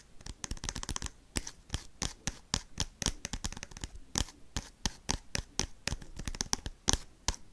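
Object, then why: Sealed foil card pack. Paperclips worn on the fingertips tap and scratch quickly across a small, sealed, crinkly foil Pokemon trading-card booster pack held in the hands. About 34 sharp, dry taps and scrapes come in rapid, uneven bursts, each with a bright crinkly tick and almost no ring.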